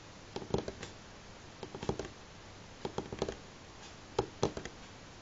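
Fingernails of both hands tap on a solid light pine tabletop in four quick bursts of several clicky taps each, separated by pauses. The taps are short and dry, with a woody knock centered in the low mids and almost no ring.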